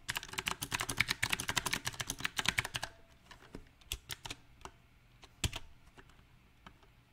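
Fingertips type on a backlit compact mechanical keyboard with round typewriter-style plastic keycaps on a silver metal frame. A rapid, uneven burst of bright, clicky keystrokes lasts about three seconds, then thins to a few scattered single taps. Each click is short and sharp with almost no ring.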